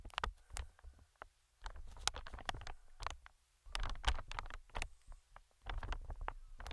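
Metal tweezers tap and scratch the film of a medium green, inflated plastic-film air cushion. Sharp, bright crinkly taps and short scratches come in uneven bursts over a soft, low, hollow rumble, with brief quiet gaps between clusters.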